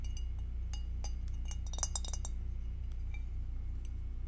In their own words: Tapping on glass with acrylic nails